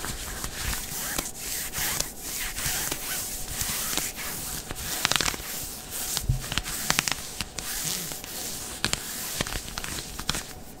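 Fingertips and nails scratch and rub the tight stretch fabric of dark grey smooth synthetic leggings being worn, around the hip and waistband. The sound is a steady bright, hissy scratching with short sharp crackles and scrapes scattered throughout.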